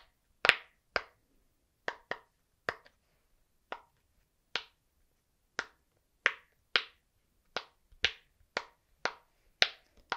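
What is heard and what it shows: A flat, hand-sized, rainbow heart-shaped silicone pop-it fidget toy with hollow bubbles is held in both hands while fingertips press and pop the bubbles. About sixteen sharp, bright snapping pops come at irregular intervals, each dying away almost instantly into quiet.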